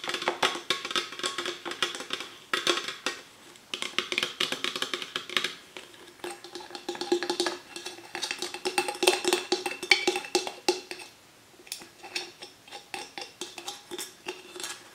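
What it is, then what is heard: Aluminium drink can. A small, hollow Nectar peach aluminium can, opened and likely empty, lies on a book and is tapped and scratched with long nails, including around the pull tab. Quick, bright clicks and ticks come in dense bursts with scratchy texture between them and a thin tinny tone, with no low end. The taps die away almost instantly, with a brief lull near the 11-second mark.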